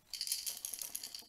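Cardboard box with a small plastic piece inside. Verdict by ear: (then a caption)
Loose. A Lego set box is shaken with one loose plastic piece left inside, a spare wheel that had nothing to attach to, while all other parts were used. The piece rattles around the box in a quick, bright, high clatter of short clicks with almost no low end.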